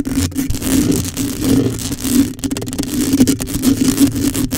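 Long nails scratch a black metal mesh microphone grille with both hands, held close. A continuous, dense rasping scrape carries a steady low tone around 250 Hz, with bright hiss on top and brief dropouts between strokes.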